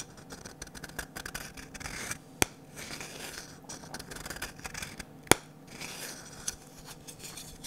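Fingernails scratch and rub along the curved handle of a medium, glossy orange varnished wooden ladle held in both hands. The result is a quiet, dry, uneven scratching and rubbing with bright hiss. Two sharp clicks stand out near 2.4 and 5.3 seconds.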